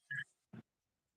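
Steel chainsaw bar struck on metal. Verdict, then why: Dull. A 14-inch laminated steel chainsaw bar, made of three layers held together by pins, is struck on a piece of metal. It gives short, dull thuds that die away almost at once instead of ringing, which marks it as a laminated bar.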